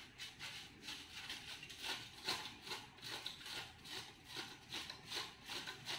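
The fingertips and short nails of both hands rub and scratch across a thin, crinkled aluminum foil sheet spread flat on a marble surface. Bright, crinkly scraping strokes repeat at a steady but loose rhythm of about two or three per second. The sound is concentrated in the high range with almost no low end.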